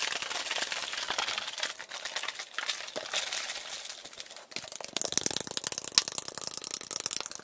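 An Arizona iced tea metal can is tapped and scratched quickly, sped up to double speed. Bright, dry scratching and crinkly ticks fill the first half, then louder, denser taps with sharp metallic clicks take over. There is almost no low end, and each tap dies away almost instantly.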